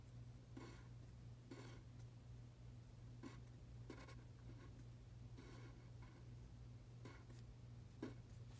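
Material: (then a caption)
Paper. A pen tip scratches across a thin printed paper practice sheet lying flat on a dark table as fingertips guide it through writing Chinese characters. The soft, bright scratching comes in short bursts between pauses, over a steady low hum.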